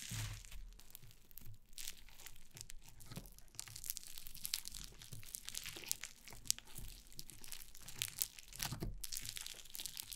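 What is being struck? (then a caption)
Foam slime pressed and scratched with fingernails. Yellow foam slime lying on a wooden table is poked, pressed and scratched with long painted nails, giving a steady stream of soft, bright crackling, crunching and crinkling textures. Low thumps from pressing sit under many quick, sharp high snaps that come close together throughout.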